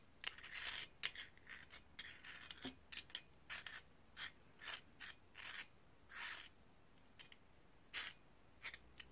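A small, hollow, ridged brass herb grinder is scratched and rubbed with long painted nails. The result is a quiet series of bright, dry scrapes and rasps: sharp nail clicks mixed with longer rubbing strokes over the ridges, separated by brief near-silent gaps.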